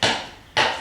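Two sharp taps on a stone patio paver give a slightly hollow, higher-pitched knock that sounds different from solid stones. This shows the stone is a little loose but not wobbly, so it does not need replacing.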